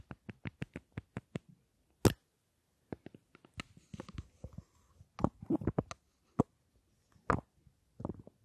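Long nails tap a small solid rectangular Tom Ford lipstick case with a gold metal frame and glossy black panels, held close to the mics. A quick even run of eight short, dry clicks opens the clip, followed by a single sharp louder tap and then irregular clusters of soft, muffled tapping and light scratching with brief pauses.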